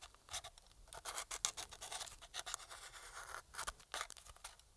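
A thin metal pick scratches and scrapes along the seams and grip edges of a black, hand-sized, hollow plastic PS4 controller held in gloved hands. The sound is a quiet, rapid series of bright, dry scratching bursts with a high, hissy edge and almost no low end, each dying away almost instantly.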